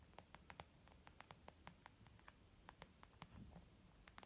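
Fingertips and nails tap quickly on a white textured leather zip makeup pouch, making about 17 quiet, crisp clicks that die away almost instantly. The taps have a bright, dry snap with a faint low thud. They fall at an uneven, rapid pace over a steady low hiss.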